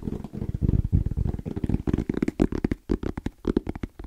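Fingertips and nails tap and scratch quickly on the lid and sides of a small, closed, hollow black rectangular EVA hard-shell zipper case with a fabric-covered shell, orange trim and a wrist strap. A rapid, rhythmic run of dull, low, hollow thumps is heard, each dying away almost at once, with a faint scratchy texture between the taps.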